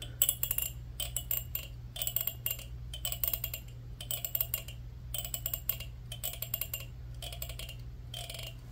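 A black plastic comb held in both hands has its teeth plucked by fingernails running across them. The result is about ten quick bursts of dry, bright clicking, roughly one each second, with sharp high ticks over a steady low hum.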